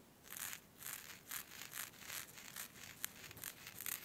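Long red nails scrunch, scratch and rub the gathered fabric of a thin, smooth black scarf with a white skull print. The result is a quiet run of bright, hissy swishes and crinkles, rising and falling in uneven strokes about twice a second, with one sharp tick near the three-second mark.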